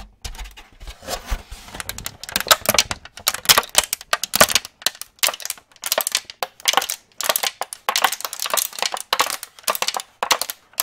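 An empty clear plastic cookie tray is held in both hands and swung to one side while fingers squeeze and tap it, making it crinkle. Dense bursts of bright, crackling crinkles come in quick, dry clusters with short pauses between them, with almost no low end.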